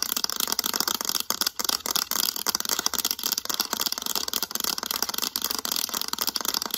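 Long acrylic nails rapidly tap and scratch the back of a mint-green hard plastic graphing calculator, across its embossed lettering. The result is a dense, continuous stream of bright, dry clicks and scraping rasps with almost no low end and no ring after each tap.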